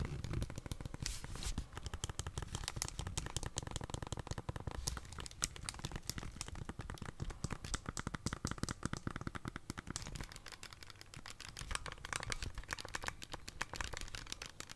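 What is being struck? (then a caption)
Plastic handheld game console. A plastic Nintendo Switch handheld console with red and blue Joy-Cons, held in both hands, is tapped with fingernails and has its buttons pressed. The result is a dense, continuous stream of quick, dry plastic clicks and taps with a low, soft body under them, plus some bright crackly edges.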